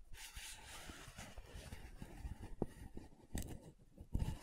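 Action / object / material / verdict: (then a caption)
scrape / plastic powder jar lid / plastic / none. Long nails scratch and tap the glossy top of the dark purple lid on a small round plastic loose powder jar. Soft, low scratching continues throughout, broken by a few louder dull taps toward the end.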